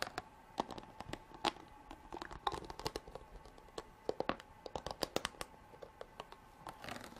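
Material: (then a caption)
Plastic. Long black nails tap and scratch along the ridges of a clear ridged plastic water bottle with an orange cap, lying on its side and partly filled with water. It makes a quick run of sharp, crinkly clicks and short scrapes with a hollow mid-range plastic tone, with bright edges on each tap and almost no ring.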